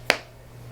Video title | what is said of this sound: iPhone 14 Pro UAG Cases with Magsafe, THE TRUTH? | a little snap so a little loose